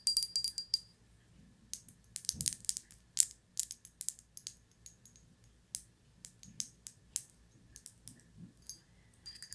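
Long white nails tap and scratch the textured leaves and body of a small, solid-looking, gold-glazed ceramic pineapple figurine held in a hand. The clip is a quiet, uneven string of bright, sharp clicks and scratches. Some come in quick clusters, with short pauses between them, and each click dies away almost instantly.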